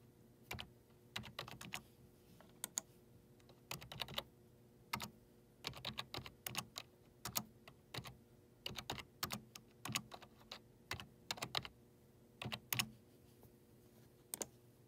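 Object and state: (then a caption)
Plastic computer keyboard numpad. Fingertips with short nails type repeatedly on the numeric keypad of a black plastic desktop keyboard with hollow keycaps. Sharp, bright clicks come in quick irregular bursts and stop almost instantly, with short pauses between them. A faint, steady low hum runs underneath.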